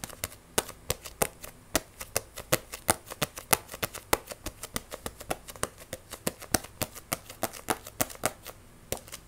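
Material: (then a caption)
Paper, card. Long nails rapidly scratch, tap and grip the glossy card cover and edges of a solid Wandering Witch paperback manga book. A fast, uneven stream of sharp, dry clicks and scratchy taps with bright tops dies off almost instantly, over a faint steady low hum.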